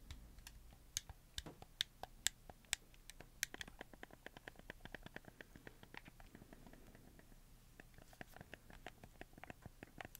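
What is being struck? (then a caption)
Plastic game controller. A black, hollow plastic PS4 game controller with white joystick caps is held in both hands while fingertips move and click the joysticks and tap the buttons. Rapid, dry, bright plastic clicks and taps patter in quick irregular succession with almost no ring, over a faint low hum.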